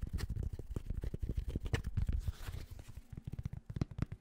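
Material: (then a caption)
Fabric. Fingertips scratch and tap rapidly on the fabric crown of a grey Penn State baseball cap. The result is a quick, uneven run of dull, muffled thumps mixed with soft, scratchy rustling, with almost all of the energy sitting low and very little brightness.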